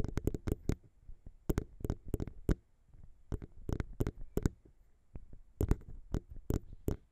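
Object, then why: Metal microphone capsules. Long pink nails tap and scratch around the small chrome metal XY microphone capsules of a Zoom H6 recorder, up close. The result is a run of quick, dry, boomy thumps, heavy in the low end around 60 Hz, with faint scratchy clicks between them and almost no ring.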